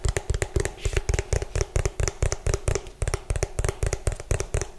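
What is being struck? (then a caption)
Plastic food container. Both hands rapidly tap the ridged base of an orange hollow plastic food container, bottom facing the mic, using fingertips and nails. The result is a fast, uneven stream of deep, hollow thumps with bright nail clicks on top, each tap dying away almost at once.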